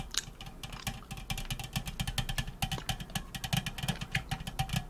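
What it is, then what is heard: Aluminum soda can. An unopened, likely full 355 ml aluminum Canada Dry ginger ale can is held in one hand and tapped and scratched with long acrylic nails. The result is a rapid, steady stream of short, bright, clicky taps with scratchy rasps between them, each tap dying away almost instantly over a low, constant rumble.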